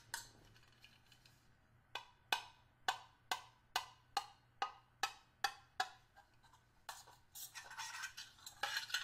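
A small, hollow stainless steel hip flask held close is tapped with the tip of a small screwdriver, giving a series of distinct, bright metallic clinks with a short, hollow ring around 900 Hz. Toward the end, the taps give way to a denser, rapid burst of scraping and clattering against the steel.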